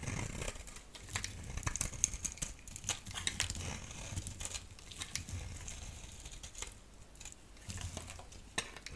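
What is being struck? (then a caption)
Bar of soap. A solid yellow oval bar soap held in the palm is scraped and shaved with a utility knife blade. The result is a steady run of dry, crisp scraping and crinkly shaving strokes with bright, sharp peaks and a soft low rumble underneath.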